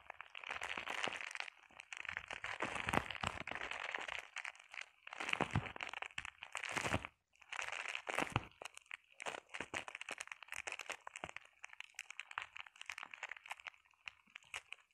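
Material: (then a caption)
Plastic. Long painted nails scratch and tap across a flat sheet of clear plastic bubble wrap. Dense, crinkly crunching and crackling bursts come in waves separated by brief pauses, bright and crisp with little low end.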